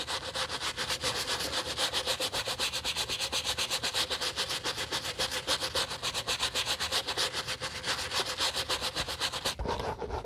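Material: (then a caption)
Leather. A bristle brush scrubs the sole edge and side of a white leather sneaker in quick, steady back-and-forth strokes. It makes a bright, hissing scratch that pulses at a regular rhythm. The strokes continue throughout and briefly thin out just before the end.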